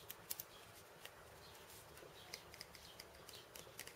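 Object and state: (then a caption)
Wooden cabasa with steel bead chains. Fingertips and nails tap and scratch the steel ball chains and the wooden top disc of a cabasa, which has a wooden end disc and a cylinder of steel bead chains. About 13 short, bright clicks and rattles stand out over a soft, steady hiss. Each tick dies away almost instantly, and the whole clip stays quiet.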